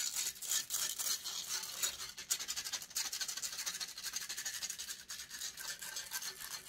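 Long painted fingernails scratch rapidly across the hollow metal mesh grille of a silver condenser microphone held in one hand. The result is a dense, irregular stream of bright, hissy scraping strokes, about four per second, with almost no low end.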